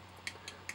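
Three light taps on a fiberglass scale engine cover from a Ford Bronco scale crawler kit give short, bright clicks centered high around 2 kHz. Each dies away almost instantly. The cover's weave is visible on the inside, yet the taps sound like injection-molded plastic.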